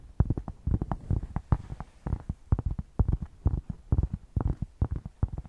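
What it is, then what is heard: Thick cork square being scratched. A thick, solid cork square is held in both hands and scratched with long painted nails close to the microphone. The scratching comes in quick, uneven bursts with short, dry strokes and almost no ring. Its muffled, bassy thumping sits mostly in the low end, with little brightness.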